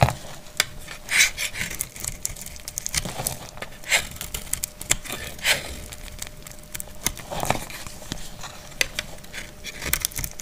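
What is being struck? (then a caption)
Bar of soap cut with a metal blade. A solid, dry green soap bar held in the hand is sliced with a metal utility blade. Short, crisp, bright scraping and crackling cuts come in irregular bursts over a faint steady hum. Each cut stops almost at once.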